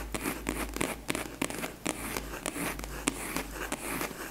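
A long, flat, closed purple hard case covered in faux leather, hollow and held horizontally, is tapped and scratched with long nails. About 13 sharp, dry taps ring out between soft scratching and crinkly rustles, over a steady low hum.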